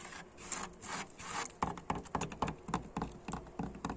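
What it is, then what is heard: Weathered wooden plank door scratched. Fingernails and fingertips scratch and rub along the grain of a weathered wooden plank door: large old vertical solid boards with peeling red paint and a grainy, dry surface. The first second and a half is slow, broad dry rubbing. It then turns into quicker, sharper scratching strokes with bright, papery edges and almost no ring.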